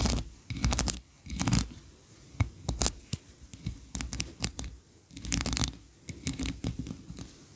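Long nails scratch and tap the ridged sides of a medium, solid white wax candle shaped like a ribbed, tiered Christmas tree, standing on a carpet. Short bursts of dry, bright scratching and crackling alternate with soft, low thuds and quiet gaps. Each sound dies away almost at once.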